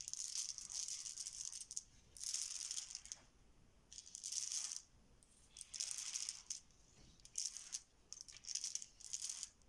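A heap of small solid plastic Bananagrams game tiles on a marble counter is swirled around with flat hands and fingertips. The tiles clatter against each other in bright, rattling bursts separated by short quiet gaps, with almost no low end.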